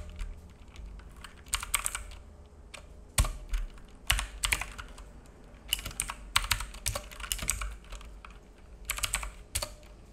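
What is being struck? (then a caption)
Plastic mechanical keyboard. Fingertips of both hands type on a black full-size mechanical keyboard with plastic keycaps and a hollow case, resting on a wooden desk. Bursts of sharp, bright key taps come in uneven clusters, each click dying away almost instantly, over a steady low hum.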